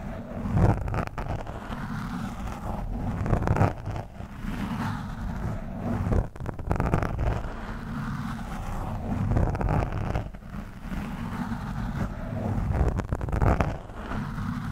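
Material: Foam.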